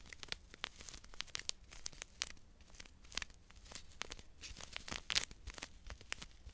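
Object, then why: Small foil-and-paper powder sachet. Fingers crinkle and rub a small, full, sealed Emergen-C foil and paper powder sachet held in both hands. Quiet, dense bursts of bright, dry crackling and rustling come in quick irregular spikes over a faint low rumble.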